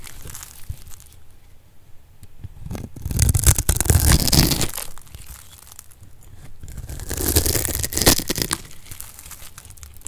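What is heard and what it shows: A solid rectangular bar of dry orange soap, held in the hand, is scraped and cut with a metal blade into crumbly chunks. Dry, crunchy crumbling and tearing textures rise into two louder swells of dense scraping, then settle back to quieter crackling between and after them.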